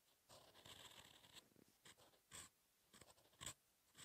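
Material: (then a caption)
Paper. A steel fountain pen nib scratches across a thin, solid sheet of lined paper lying flat while writing Korean characters. The result is a soft, bright, papery scratching in short strokes with pauses between them, with a couple of louder, sharper scrapes.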